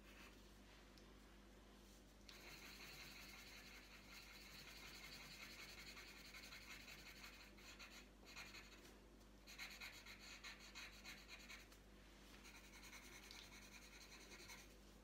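The tip of a green wooden coloured pencil scratches with quick strokes across a thin, flat printed paper colouring sheet lying on a tabletop. A bright, hissy scratching runs in bursts of rapid back-and-forth strokes, broken by short pauses, over a faint steady low hum.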